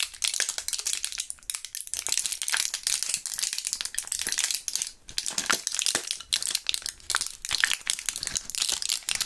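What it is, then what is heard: Plastic and foil gum blister pack. A partly emptied clear plastic and foil blister pack holding purple gum pieces is squeezed and crushed between gloved fingers. It gives dense, bright crinkling and crackling with sharp little snaps and almost no low end. The bursts come in quick clusters, with brief dips in between.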